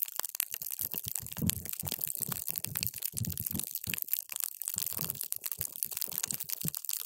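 A paper straw is pushed down into a clear plastic cup full of multicolored water gel beads, crushing them. Dense, wet crunching and crackling pops continue steadily throughout, with bright, crisp snaps on top of soft, low squelches.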